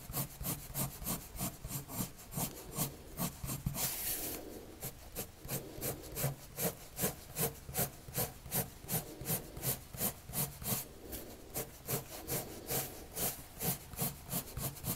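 A colored pencil rubs across a white paper drawing sheet resting on a table in short shading strokes. It makes a steady, quick run of scratchy, bright strokes, about two or three per second, with a brief continuous hiss near the four-second mark before the rhythmic shading resumes.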